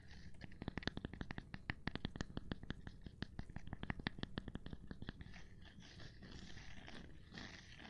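A gloved hand taps a cork board in a quick, uneven run of short, dry, dull taps with almost no ring, mostly low-weighted. Around five seconds the tapping stops and gives way to a softer, continuous scratchy rubbing texture.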